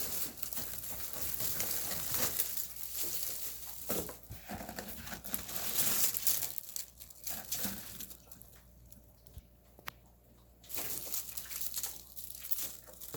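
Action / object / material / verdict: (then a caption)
scrape / dried radish greens / dried leaves / dry. Dried radish greens (siraegi) from Yanggu Punchbowl are handled and crumpled, giving a dense, bright crackling and crinkling that fills most of the clip. Around the middle it quiets to a low hum with only sparse crackles, then picks up again toward the end. The very crisp crackle shows the greens are thoroughly dry.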